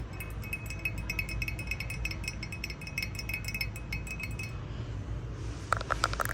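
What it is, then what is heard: Glass item tapped. Glass items in a store are tapped with quick, light strokes, giving a steady run of bright, clear clinks over a low background rumble. After a short pause, a few louder, lower-pitched taps ring out near the end, each clink dying away almost instantly.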